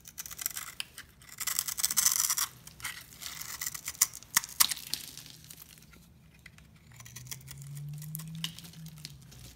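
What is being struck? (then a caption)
Bar of soap. A utility knife blade scrapes and carves a solid cream-coloured bar of soap held in the hand, cutting it into small flakes and cubes. The clip is made of bright, crisp scraping and crackling bursts at an irregular pace. A faint low hum rises underneath toward the end.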